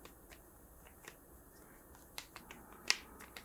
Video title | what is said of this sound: ASMR - Soft Spoken Art Talk with Soft Tapping To help You Relax/Chillax. | because of the type of plastic and then the fact that they're Hollow